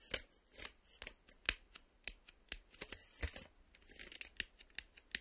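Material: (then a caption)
Plastic. The plastic surface of a VHS video cassette is scraped and tapped, giving a quiet, rapid series of short, crisp, bright scratches and clicks. Each stroke dies away almost instantly, and there is little low end beneath the dry, rasping texture.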